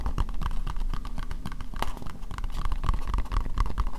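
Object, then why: Plastic bowl. Long nails tap rapidly on an empty, hollow, translucent pink plastic bowl. The bowl is only partly in view. The taps are short, dull clicks with a low, thumpy body and a faint hollow tone around 1 kHz, and each dies away almost at once.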